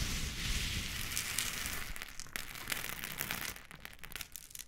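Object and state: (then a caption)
Coarse rock salt crystals. Green and pink silicone spatula tips poke, scrape and stir through a heap of loose, coarse pink Himalayan salt crystals. The result is a dense, irregular crunching and crackling with bright, gritty grain noise over a low rumble, easing slightly toward the end.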